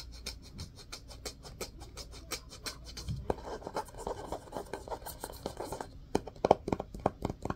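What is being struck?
Hardcover book with cloth-covered cardboard cover.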